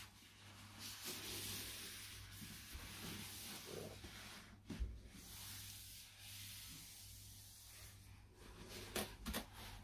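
Gloved fingertips in white cotton gloves rub and stroke across the printed face of a medium-size, hollow, closed cardboard product box for a microphone isolation shield held in the hands. A soft, steady brushing hiss runs throughout over a low constant hum, with a few brief, sharper scuffs and taps standing out near the middle and end.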